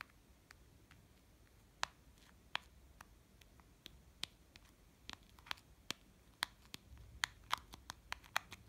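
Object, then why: Small plastic children's watch. A small pink and yellow plastic children's watch with a printed princess face cover is held in the fingers while fingernails scratch and tap its face and case. Soft, faint scratching runs under a scattered series of sharp, bright plastic clicks that stop dead with no ring, coming faster toward the end.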